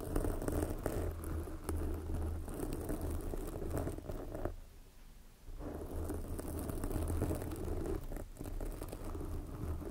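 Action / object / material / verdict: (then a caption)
scrape / foam microphone windscreen / foam / none. Long glossy black fingernails on both hands scratch a soft, porous red foam windscreen covering a microphone. The result is a dense, crackly rustling with a heavy low rumble that drops to near silence for about a second midway before the scratching resumes.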